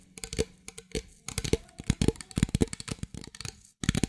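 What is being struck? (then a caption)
Thin plastic drink bottle. A medium clear plastic drink bottle, hollow and apparently empty, is held in both hands and tapped and squeezed with long fingernails. Rapid, dry taps and crinkly plastic clicks come in uneven bursts, each dying away almost instantly, with a brief silent gap just before the end.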